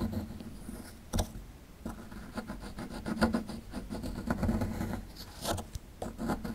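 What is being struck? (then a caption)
Plaster block scraped with a small metal tool. A small, solid rectangular plaster block with a dinosaur skeleton relief, held in one hand, is scraped and chipped with a small metal chisel-tip tool. Dry, gritty rasping and scratching are broken by sharper chipping clicks as crumbs fall off.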